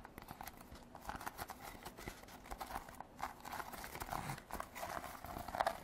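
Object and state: Woven rattan basket.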